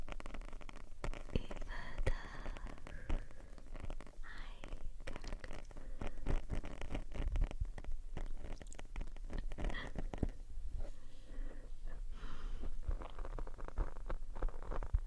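Long painted nails on both hands scratch and rub a black foam windscreen on a RØDE shotgun microphone. The result is a dense, continuous stream of close crackling, crinkly scratches and soft rubbing over a heavy low rumble, with brighter scraping streaks coming and going throughout.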